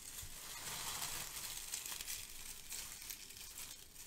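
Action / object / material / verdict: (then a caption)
shake / kraft paper shred / paper / none. Hands lift and squeeze handfuls from a pile of brown crinkle-cut kraft paper shred. A steady, dense, bright crinkling rustle continues throughout at a soft level, with small crackly swells as the paper is pressed and released.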